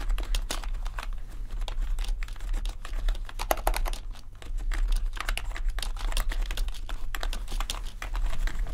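Fingertips type continuously on a full-size gaming keyboard with a grey metal top plate and black plastic keys. The result is a dense, rapid stream of short, sharp clacks with bright tops, running over a steady low hum.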